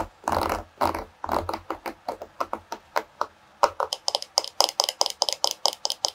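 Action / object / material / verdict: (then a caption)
flick / wooden paddle hairbrush with wooden pins / wood / none. Long nails flick the wooden pins and tap and scratch the wooden back of a solid bamboo or wood paddle hairbrush. The first second or so brings longer, broader scratchy strokes. These give way to a quick, steady series of short, dry clicks with a bright, high edge and almost no ring.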